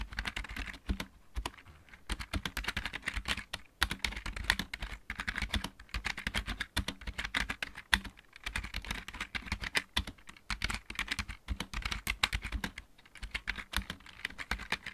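Fingertips of both hands type fast on a full-size backlit mechanical keyboard with plastic keycaps. The result is a dense, rapid clatter of short, sharp clicks with bright top and a low thock under each keystroke. Brief pauses break up the otherwise steady stream of typing.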